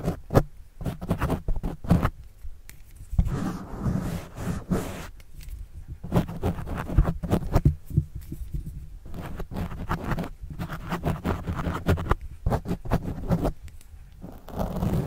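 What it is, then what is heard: Pen scratching a foam mic windscreen. A plastic pen tip scratches and writes across a black foam windscreen on a microphone. Dense, muffled scratching strokes come in fast bursts with short pauses, heavy in low rumble and thumps and almost no bright content.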